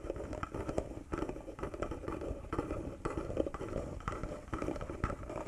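Fingertips and nails tap and scratch on a small, hollow, carved wooden box and its silver metal emblem. The result is a dense run of quick, dull knocks mixed with soft scraping. The sound sits in the low and mid range around 550 Hz, and each hit dies away almost at once.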